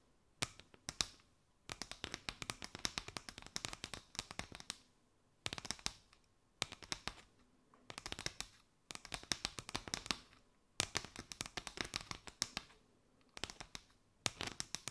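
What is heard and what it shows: Long fingernails tap and scratch across a mat of hollow chevron-patterned paper straws draped over a microphone. Quick bursts of crisp, dry, bright clicks and light scratchy rustles come in clusters separated by brief silences, each tap dying away almost instantly with little low end.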